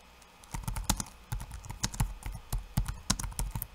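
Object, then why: Laptop keyboard with plastic keycaps. Bare fingertips tap rapidly across the plastic keycaps of a backlit laptop keyboard. The result is a quick, uneven run of short, dry clicks with a soft low thump under each key and brief bright ticks on top.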